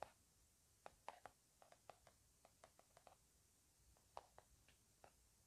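A plastic or laminate hand cream squeeze tube with a blueberry print, hollow and filled with cream, is held upright and tapped with fingertips and nails. The clip has a loose, irregular series of quiet, short, dry ticks. Each has a midrange tone around 800 Hz and a bright edge, dies away instantly, and sits over a faint steady hiss.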